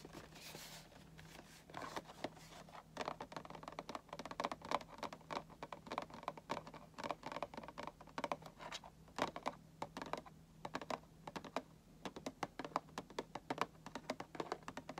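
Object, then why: Printed cardboard box with figure inside. Fingertips and nails tap quickly on the back and side panel of a hollow, printed cardboard Funko Pop box with the figure inside. The dense, dry taps are short and papery with a midrange knock, heard over a steady low hum.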